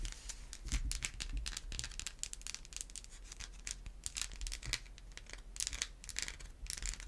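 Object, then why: Bar of soap tapped and scratched with fingernails. A solid white bar of soap is held in one hand and tapped and scratched with the long white acrylic nails of the other hand. The result is a dense run of quick, bright scratchy rasps and crisp clicks over a steady low hum.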